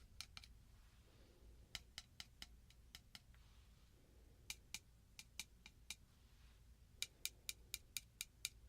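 A piece of metal filigree is tapped in three quick bursts, 22 light taps in all. Each tap is a short, bright, high-pitched click that dies away almost at once, over a faint low background hum.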